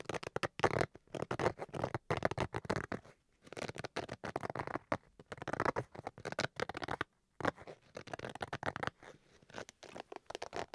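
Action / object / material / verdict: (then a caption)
scrape / fabric-covered hard-shell carrying case / fabric / none. Fingernails scratch along the fabric face and zipper edge of a black, hollow Switch carrying case made of fabric over a hard shell. Bursts of dry, rasping scratches come in quick runs with short pauses between them, mostly in the mid range with a brighter edge.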